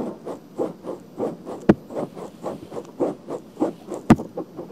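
Long painted fingernails scratch around the rim of a pink, soft silicone ear with a hollow canal on a black binaural microphone. Steady, rhythmic, muffled rubbing strokes repeat every third of a second or so, with two sharp, bright clicks standing out partway through.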